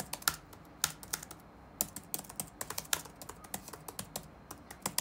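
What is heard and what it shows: Fingertips of both hands type rapidly on the black plastic keycaps of a dark laptop keyboard resting on a wooden desk. The result is a steady run of quick, bright clicks with very short decay, some keystrokes landing louder than others.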